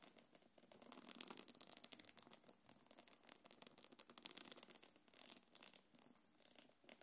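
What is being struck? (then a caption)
Small quilted faux leather belt bag. Long nails scratch and rub the body of a small, hollow, quilted black leather-look belt bag. The result is a quiet, steady stream of dry, bright scraping and crinkly rasps. The scratching swells and fades in bursts with little low end.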